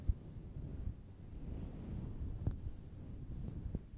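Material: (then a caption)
Synthetic fur. Long blue nails scratch and rub a fist-sized, fluffy grey-white synthetic fur microphone windscreen with both hands. The sound is a steady, muffled low rumble, almost all of it below 200 Hz, broken by three brief, soft thumps.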